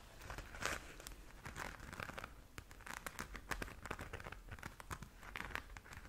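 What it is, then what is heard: Glitter fabric pouch. Long nails scratch and tap across the glitter surface of a flat pink glitter-covered zip pouch. The result is a soft, steady run of crinkly, papery rasps, punctuated by sharp little ticks and brief bright bursts, all at a quiet level.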